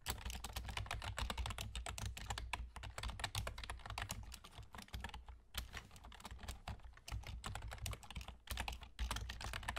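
Fingertips with short nails type rapidly on a full-size black plastic computer keyboard with hollow keys and German key labels, using both hands. Dense, short clicking taps follow one another quickly, with a few brief pauses and a low steady rumble underneath.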